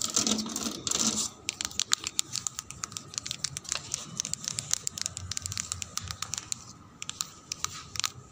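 The plastic surface of a slide is rubbed and tapped. A second of dense, bright scratching gives way to a long run of quick, sharp, clicky taps with almost no ring or low end.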